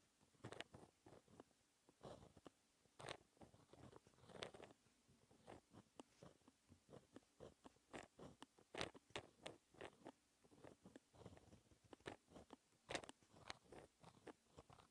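A white gel pen held in the fingertips writes math equations on a flat sheet of black lined textured paper. Quiet, dry scratching strokes come in about two dozen short, separate bursts, centered in the midrange with bright, crisp edges and almost no ring.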